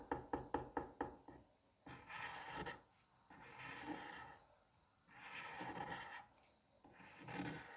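A metal curette tip taps five times in quick succession on a palm-sized solid dome of green kinetic sand, making short, dull knocks. It then drags across the surface in four longer scraping passes, each a grainy, bright rasp separated by brief quiet gaps.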